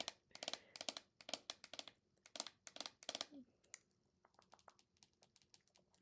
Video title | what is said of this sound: ASMR Anime figure collection (Tapping and talking) | he's a very thick plastic because of how big he is